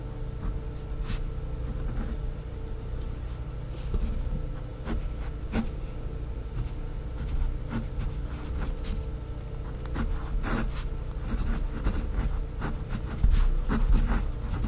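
A hand with long nails writes cursive text with a pink fineliner pen on white lined notebook paper. Soft scratching pen strokes come and go over a steady low hum throughout.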